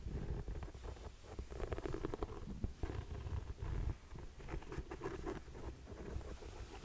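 Long painted nails tap and scratch the suede upper of a single grey suede ankle boot with a buckle strap, held hollow and empty in the hand. The result is a soft, muffled mix of dull low thumps and rough brushing scratches, with almost no bright edge and no ringing.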